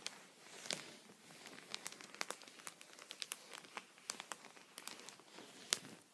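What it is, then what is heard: Plastic sheet protector. A thin, clear plastic sheet protector with a punched edge strip lies on a towel and is tapped with the eraser end and the tip of a wooden pencil. The result is a quick, irregular run of short, bright, crinkly ticks with almost no low end and no ring, over a faint hiss.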